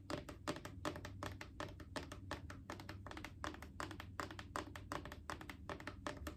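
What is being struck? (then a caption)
Plastic wipes canister. Long acrylic nails tap and lightly scratch a Clorox disinfecting wipes canister, a mid-sized hollow plastic cylinder. The result is a quick, uneven run of short, dry, hollow clicks with a midrange knock around 1 kHz. Soft scratchy textures and a faint, steady low hum sit underneath.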